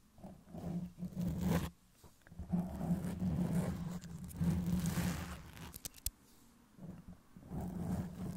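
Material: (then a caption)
Foam. Long press-on nails on both hands scratch and rub the soft, porous black foam cover on a Blue Yeti microphone head. The result is a deep, muffled rumbling scrape that swells and fades in slow bursts, with a brief sharp click partway through and quiet gaps between strokes.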